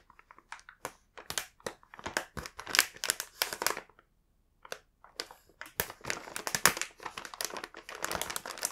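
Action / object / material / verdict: scrape / printed plastic snack bag / plastic / none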